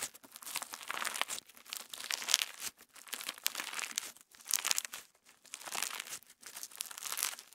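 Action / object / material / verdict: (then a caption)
scrape / slime with plastic sequins / slime, plastic / none. Clear orange slime with plastic star sequins, a solid soft lump, is kneaded and stretched between fingertips and thumbs. It gives a steady stream of bright, crinkly squishes in several swelling bursts, with almost no low end.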